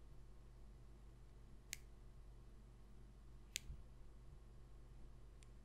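Long pink acrylic nails tap and click along the edge and face of a small, thin, glossy cardboard trading card, No. 27. Two sharp, bright clicks stand out, with a fainter one near the end, over a steady low hum. Each click is very short, with almost no ring.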